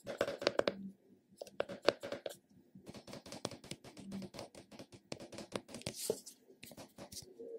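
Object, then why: Small plastic round container. Fingernails tap and scratch the embossed lid and rim of a small, squat, hollow purple plastic puck-shaped container. Quick, dry clicks with a faint hollow tone come in rapid bursts, mixed with brief scratchy rasps and a short pause near one second. Each tap dies away almost at once.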